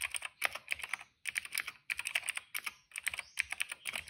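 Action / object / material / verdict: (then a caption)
tap / plastic mechanical keyboard / plastic / none. Fingertips of both hands type on a retro-style cream plastic mechanical keyboard with black and purple keycaps. Rapid bursts of bright, crisp clicks come in quick runs, centered around 2 kHz with high overtones. Brief pauses separate the runs.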